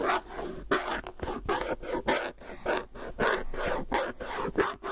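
Fingernails scratch and tap the lid rim and side of a hollow, round plastic tub with a white lid and a clear body, held in one hand. The result is a series of quick, uneven scraping strokes with short taps, each with a raspy, mid-pitched hollow tone and bright edges, fading quickly between strokes.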